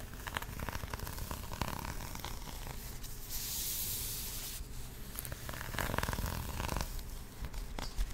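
Fingertips and long nails scratch a flat, patterned, paper-covered cardboard box held close to the mic. The scratches rasp and crackle over a low rumble, and a steady bright hiss swells for about a second in the middle.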